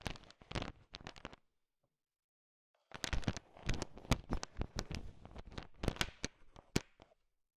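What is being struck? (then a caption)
Heap of hard candy-coated peanut chocolates in a bowl. A thin wooden stick stirs and taps a heap of small, hard, sugar-shelled peanut M&Ms filling a bowl, mixing the candy-coated chocolates. Short bursts of sharp, bright clicking and rattling are heard, then a pause of about a second and a half. After that comes a longer, denser run of crisp, tapping rattles with very little ring.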